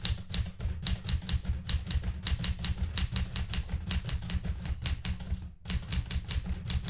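Fingertips type on the plastic keys of a blue metal portable manual typewriter, and the right hand pushes the carriage return lever. Rapid, steady keystrokes produce sharp, bright clacks over a heavy low thump, with a brief pause near the end before the typing resumes.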